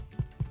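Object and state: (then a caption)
Baked-through sourdough loaf (hollow). Two low, hollow knocks from tapping the bottom of a freshly baked no-knead sourdough loaf to check whether it is done. The dull, short thuds sit mostly below 200 Hz, and the hollow sound shows the loaf is baked through.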